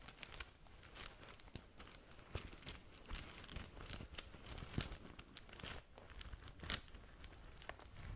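Long nails scratch and crinkle a small green polka-dot satin drawstring gift bag close to the microphone. The sound is a quiet, continuous run of dry crinkles and scratchy rustles, with brief sharp bright ticks scattered throughout.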